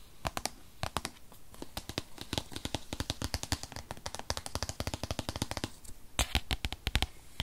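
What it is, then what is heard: Cardboard product box. Long fingernails tap fast on the front face of a rigid white paperboard iPad box, a tablet-sized product box that holds the iPad. The result is a rapid stream of sharp, dry clicks with no ring, bright on top and hollow-bodied underneath, bunching into quick bursts with short pauses between.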